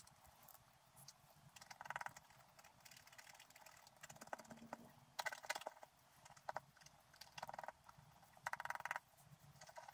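A pointed wooden stylus scratches the black coating off a flat scratch art sheet lying on a table, working in short strokes. The quiet, dry scratching comes in uneven bursts of rasping, papery friction, with brief louder flurries of bright, gritty texture between softer stretches.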